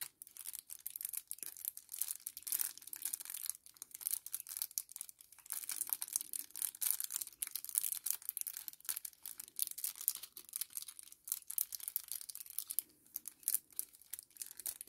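A small, flat kraft paper sachet is held in the hands and squeezed and crumpled with the fingers. It makes a quiet, dense run of bright, crisp crinkles and crackles, with almost no low end and only brief pauses between bursts.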